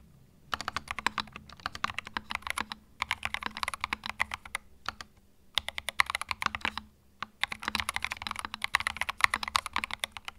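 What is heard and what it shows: A small white 65% mechanical keyboard with plastic keycaps and a hollow plastic case, resting on a felt mat, is typed on with fingertips. Fast bursts of bright, sharp, clacky keystrokes come in runs, broken by short pauses. Each click is crisp and dies away almost at once.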